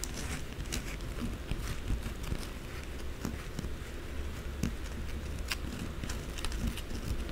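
Long blue acrylic nails rapidly scratch and tap the face of a solid white bar of soap held upright in one hand. The result is a dense, continuous crackling scratch dotted with sharp, bright clicks over a steady low rumble.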